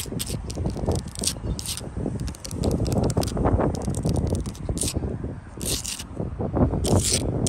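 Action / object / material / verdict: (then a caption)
scrape / sandstone wall blocks / sandstone / none. Long light-blue acrylic nails scratch quickly across solid sandstone wall blocks with mortar joints. The result is a continuous, gritty scraping, heavy in low rumble, broken by rapid crackly strokes with occasional bright, hissy bursts.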